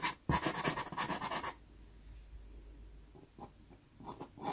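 A natural-wood pastel pencil strokes lines across a small taped sienna Pastelmat pastel paper card. A quick run of loud, dry, bright scratching strokes fills the first second and a half, then the clip drops to a quiet hush with a few soft, short strokes near the end.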